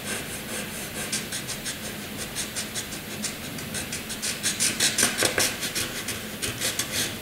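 A graphite pencil hatches inside a box on a flat white sheet of drawing paper, making quick, bright, dry scratching strokes in a steady back-and-forth rhythm. The strokes grow louder and sharper past the midpoint, then ease slightly toward the end.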